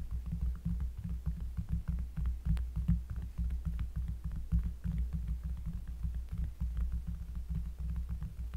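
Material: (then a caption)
Cork. Fingers tap on a cork surface up close, producing a rapid, uneven stream of soft, deep, bassy thumps. The sound sits almost entirely in the low end with a throbbing hum-like body, and each tap dies away quickly.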